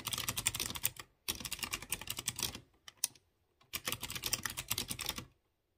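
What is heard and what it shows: Fingertips type on a light blue plastic mechanical keyboard with round chrome keycaps on clear-housed blue switches. Bright, crisp key taps come in quick bursts with short pauses between them, and each tap dies away almost at once.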